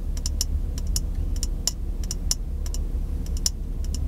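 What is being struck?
Small glass jar.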